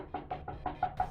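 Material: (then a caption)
Wood. Six quick knocks on a wooden table, evenly spaced, each a short hollow tock with a woody tone around 740 Hz that dies away almost at once. The last knock is a little brighter than the rest.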